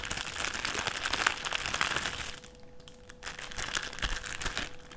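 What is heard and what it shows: A thin clear plastic sheet is folded and flattened on a table by fingertips, making dense, bright crinkling and crackling. The crinkling eases briefly about halfway through, then picks up again, over a faint steady low hum.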